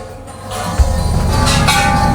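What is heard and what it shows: A huge gilded gong on the way up the Golden Mount in Bangkok is struck once for good luck. It gives a single low strike around 78 Hz, then a deep, sustained hum that carries on under higher shimmering overtones.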